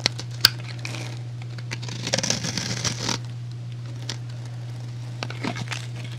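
A metal utility blade cuts and scrapes a solid, rectangular, hand-sized white soap bar with an embossed design, shaving off cubes and powder. Sharp, high clicks and snaps are followed by a dry, crumbly scraping burst, then more scattered crisp cuts, all over a steady low hum.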